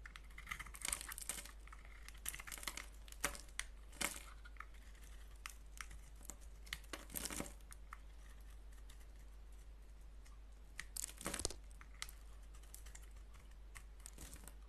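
A solid oval bar of soap with a black coating and a green core is held in the hand and shaved with a box-cutter blade. Quiet, crisp scraping and crinkling strokes come in short bursts, some brighter and louder than others, over a steady low hum.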